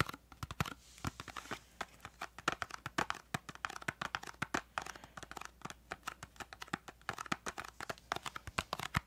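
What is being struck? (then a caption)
Small paperboard box. Fingertips and nails tap, scratch and handle a small, hollow, green and yellow printed paperboard crayon box held in both hands close to the microphone. Dozens of quick, dry, papery taps and crinkly scratches come in an uneven, steady stream, each dying away almost at once over a quiet background.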